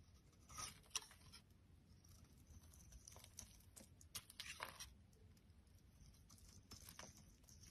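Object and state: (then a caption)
Bar of soap being shaved. A solid oval orange bar of soap with a ribbed, pumpkin-like shape, held in the hand, has curls and strips shaved from its surface by a utility knife blade. Quiet, dry scraping and crisp crunching cuts come in uneven bursts, with a few sharper snaps standing out. The sound is bright and close, over a low background hiss.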